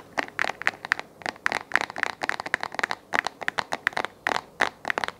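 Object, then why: Plastic desk lamp base. Fingernails tap and scratch the face of a hollow, round white plastic desk lamp base held close up. A rapid, irregular run of short, dry clicks and scratchy crackles with a hollow, plasticky tone centred near 1.8 kHz, bright upper edges, and no low end. Each tap dies instantly with no ring.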